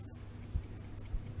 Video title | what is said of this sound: Iron Fist review from a blind persons point of view | There's no rattle. No battery rattles.